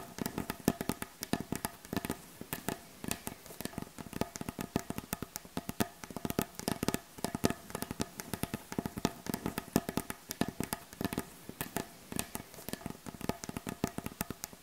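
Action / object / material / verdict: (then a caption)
tap / wooden butcher block board / wood / none. Both hands tap rapidly on the surface of a solid, light wooden butcher block board with the tips of long acrylic nails. The result is a dense, uneven stream of quick, dry clicks and knocks with a woody low-mid body and almost no ring.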